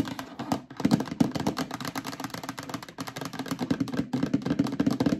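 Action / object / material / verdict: scrape / plastic storage bin / plastic / none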